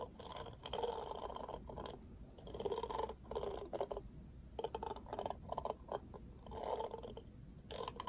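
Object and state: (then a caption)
Plastic paddle hairbrush. Fingers strum the black plastic bristles of a pink plastic paddle hairbrush, producing bursts of dry, raspy scraping centered in the low-mids. Longer drawn strokes alternate with quick clicky flicks over a steady low hiss.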